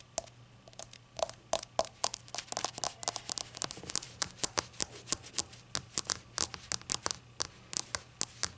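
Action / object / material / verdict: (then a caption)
tap / glazed ceramic shot glass / glazed ceramic / none. Long acrylic nails tap and scratch a small, hollow glazed ceramic novelty shot glass that appears empty, with a glossy glaze and a white unglazed base showing a printed label. A steady run of dozens of sharp, bright clicks follows, each dying away almost instantly, mixed with scratchy, crinkly scraping over a faint low hum.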